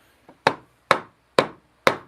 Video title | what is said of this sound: Installing Splines in a Handmade Box-Live | it sounds different when you're tapping it in